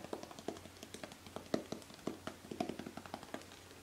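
A tall gold-green Joico metal aerosol hairspray can with a nozzle cap, hollow and held upright in one hand, is tapped rapidly with long painted fingernails. About two dozen quick, quiet taps fall in an uneven rhythm, each a sharp click with a brief hollow metallic tone that dies away almost at once.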